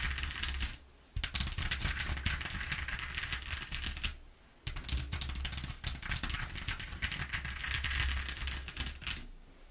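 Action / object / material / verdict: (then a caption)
tap / corrugated cardboard sheet / cardboard / none. Long fingernails on both hands tap and scratch rapidly across the ridges of a flat corrugated cardboard sheet lying on a table. The result is a dense, crackly, bright clatter of quick clicks and rasps, broken by two short pauses, over a steady low hum.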